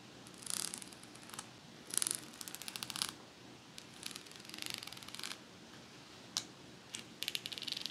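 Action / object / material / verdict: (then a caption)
scrape / metal pet comb / metal / none. Long nails scratch along the metal teeth of a pet comb held upright, and possibly along its teal plastic spine. Bursts of bright, rapid ticking rasps come in short runs, with a few sharp isolated clicks and little low end.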